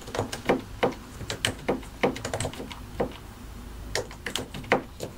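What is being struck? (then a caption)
Mechanical keyboard with plastic keycaps and plastic case. A compact white and grey mechanical computer keyboard, with a hollow plastic case and plastic keycaps, is typed on with the fingertips of both hands. It produces an uneven run of sharp, bright clacking keystrokes with a hollow, low thock under each press. Each click decays almost instantly.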